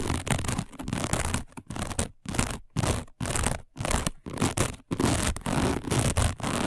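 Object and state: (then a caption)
Woven fiber placemat. Long nails on both hands scratch fast and hard across a flat, thin, round, dark coiled woven fiber placemat. The result is bursts of dry, broadband scratchy rustling in an uneven rhythm, separated by brief silent gaps.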